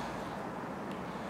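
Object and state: Nothing is struck.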